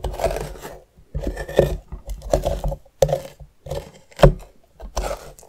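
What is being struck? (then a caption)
Pumpkin rind and metal spoon. The tip of a metal spoon scrapes and scratches the outer rind of a medium, hollowed orange pumpkin held on its side. The result is a series of short, rough, uneven scraping bursts separated by brief pauses. The sound is mostly low and dull, with a faint brighter scratchy edge and sharper clicks where the spoon catches.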